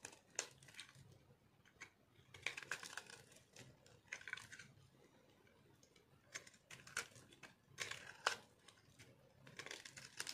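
A small metal knife scrapes and cuts crunchy chips from a solid, dry white soap block held in the palm. Quiet, bright, dry crunching and scraping bursts come in irregular clusters with short pauses between them.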